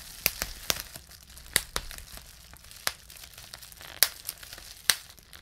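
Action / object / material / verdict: strike / plastic bubble wrap sheet / plastic / none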